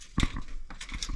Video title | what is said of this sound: Nanit Pro Smart Baby Monitor & Wall Mount Installation for Baby's Safety & Parent's Peace of Mind | if it sounds Hollow or if it sounds solid a little bit more more solid you know there's probably a stud even closer to that